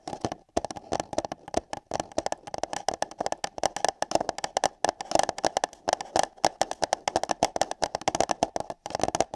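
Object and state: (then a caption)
Paper cup. Long yellow nails tap and scratch the walls of two identical empty light-blue paper cups, one fitted over each ear of a binaural microphone. Quick, dense, irregular clicks carry a hollow, small resonance around 790 Hz, with bright scratchy edges and very short decay.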